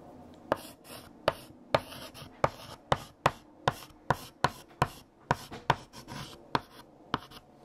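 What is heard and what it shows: A hand writes with pale yellow chalk on a large, flat black chalkboard. Fourteen sharp chalk taps ring out as strokes land, each followed by a brief, bright scratch across the board, with quiet gaps between them.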